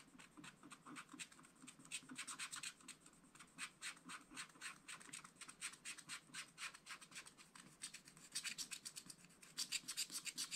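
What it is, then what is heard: Scratch-art card being scratched. A wooden stylus rubs and scratches away larger areas of the black wax coating on a scratch-art card, clearing a fish shape with dense strokes. It makes dozens of quick, dry, bright scratching strokes in an uneven rhythm, each fading almost at once. The strokes grow louder and denser toward the end.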